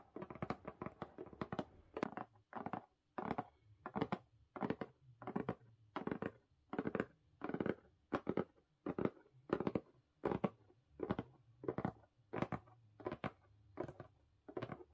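Both hands tap and scratch the lid of a closed blue corrugated cardboard mailer box resting on a carpet, using long pink nails. Quick clusters of dry, papery taps and scrapes repeat in a loose, uneven rhythm, each burst short with no ring, separated by brief quiet gaps.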